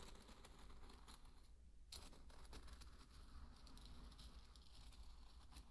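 A thin wooden stick stirs through a bed of dry pearl barley grains, making a quiet, continuous crinkling rustle of small grainy clicks and bright ticks over a steady low hum. The grains shift and patter without pause for the whole clip.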